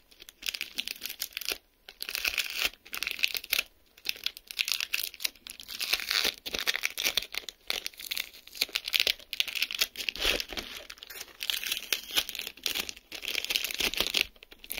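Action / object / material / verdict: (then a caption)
scrape / plastic bubble wrap film / plastic / none. A thin film layer of clear plastic bubble wrap is peeled and stretched between the fingers over the sheet. It makes continuous bright tearing and crinkling in bursts with short pauses, with almost no low end.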